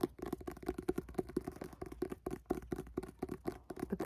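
Fingertips tap and scratch the front card cover of a red-cover paperback book, producing a quick, uneven run of soft, dull taps with a low-mid body around 350 Hz and faint scratchy texture between them. Each tap is short and dry, dying away almost instantly.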